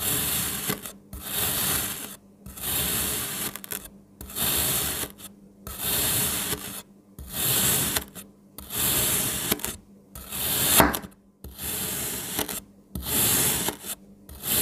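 A palm-size strawberry molded from solid pink kinetic sand is sliced into thin layers with a kitchen knife, and the layers fan out as the blade passes through the packed sand. Each pass makes a bright, gritty rasping scrape. The strokes come in steady repeated bursts separated by brief silences.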